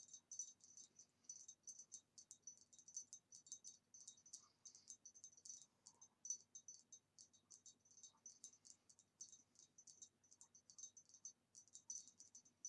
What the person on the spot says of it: it makes a very nice tapping sound